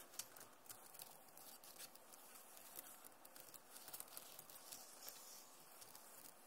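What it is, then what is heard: Plastic laptop keyboard. Fingertips and nails of both hands tap the plastic keys of a backlit Acer laptop keyboard. The result is a quiet, steady stream of short, bright clicks with almost no ring, over a soft hiss.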